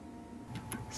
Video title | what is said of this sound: 중고 자전거 구매 전 반드시 보세요! 고장 증상 및 원인과 해결방법들 (당근 번개 자전거) | 한쪽 끝을 잡고 흔들면 덜그럭거리는게 보입니다 정상은 유격과 소음이 거의 없습니다